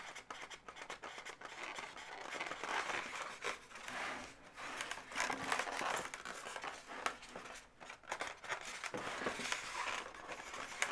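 Long natural nails scratch and tap the legs and body of a hollow, air-filled pale pink latex balloon dog. The sound is a quiet, continuous run of bright, dry scratching and squeaky rubbing, broken by short, sharp taps that fade quickly.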